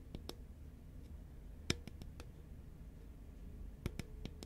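A hollow green Pringles can, a paperboard tube with a metal base and foil-lined lid, is held horizontally and tapped with long nails and fingertips. Sparse, sharp clicks and light taps ring briefly and fade almost at once, two slightly louder than the rest. A steady low hum sits underneath.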